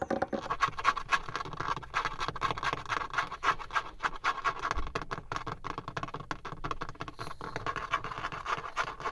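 Fingertips and nails scratch and tap rapidly on a dark, leather-textured, grained plastic dashboard trim panel inside a car, solid and fixed in place. A dense, continuous stream of dry scratching and quick tapping is heard, with many short, sharp hits and a midrange scraping tone.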